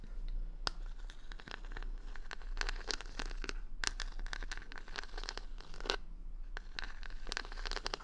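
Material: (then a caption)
Plastic, wood. Long nails scratch and tap across the colourful plastic rhinestone stickers covering the back of a hand-sized solid wooden paddle hair brush, held close to a binaural mic. Sharp, bright clicks and crisp scratchy crinkles come in quick irregular bursts over a steady low hum.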